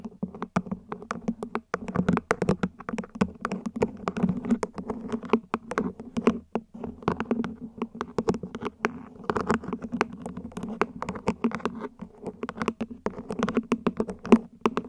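A plant pot is gently tapped with the fingers in a quick, continuous patter for the whole clip. Each tap is short and soft, with a low, hollow tone around 230 Hz that dies away almost at once.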